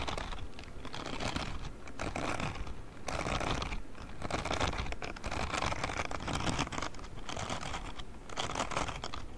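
A grey silicone spiky scrubbing glove held close to the microphone, with fingertips scratching and brushing across its silicone bristles. The result is a continuous, dense crackling and rustling texture with a low, close rumble and brighter scratchy bursts that swell and ease over the clip.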